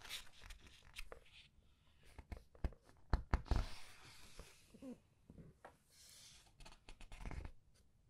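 Long red nails flip and press the thick glossy paper pages of a large hardcover book. The paper rustles softly as pages are turned and squeezed, with a few sharper crisp flicks and brief taps among the quiet, dry crinkling.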